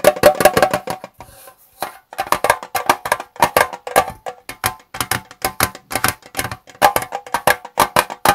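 Fingertips tap the lid and sides of a small square Twinings metal tea tin standing on a desk. They make a quick, irregular run of short, dry metallic clicks with a faint tinny ring. The tapping pauses briefly near the start, then resumes steadily to the end.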